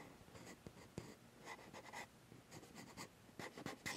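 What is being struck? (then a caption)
Metal mirrorless camera body. Fingertips and short nails from both hands scratch the top plate and viewfinder hump of a Sony A7s metal mirrorless camera body mounted on a tripod. Quiet, dry scraping bursts come in short strokes, carrying a bright hiss and a faint metallic tone near 2 kHz, with a few sharper ticks where the nails catch. Each stroke stops almost at once, with no lingering ring.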